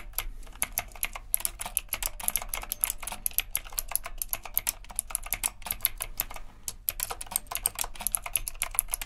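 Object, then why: Typewriter-style mechanical keyboard with round plastic keycaps. Both hands type steadily with their fingertips on a retro typewriter-style mechanical keyboard with round plastic keycaps and a metal frame, resting on a dark desk. A rapid, continuous stream of sharp, bright clicks is heard with very short decay over a faint steady low hum.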